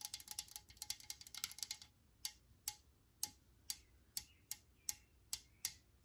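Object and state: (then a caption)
Metal aerosol spray can. Long nails tap on the body of a metal Lysol aerosol can held in the hand: a fast flurry of clicks for about two seconds, then about ten slower, evenly spaced taps. Each tap is a bright, sharp click with almost no ring and very little low end.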